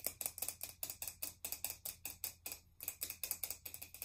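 A pink aluminum aerosol spray can, about 15 cm tall and hollow with a pink plastic cap, is tapped along its body with long nails. The result is a quick, uneven run of bright, sharp ticks, each dying away almost at once, with a short pause just before the 3-second mark before the tapping picks up again.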